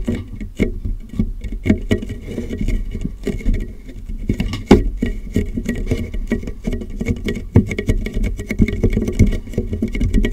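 Fingertips tap the lower sides of a large, clear, hollow, empty plastic water jug turned upside down over a microphone. The result is a steady, uneven patter of soft, muffled thumps with a low, boomy hollow resonance around 200 Hz. Each tap dies away almost at once.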